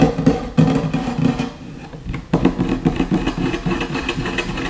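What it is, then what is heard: Wooden tabletop. Fingertips and short nails of both hands scratch and tap quickly on a solid wooden tabletop. Fast, irregular taps with a low, woody body blend into dry scratching. There is a brief quieter stretch near the middle, then the rapid tapping picks back up.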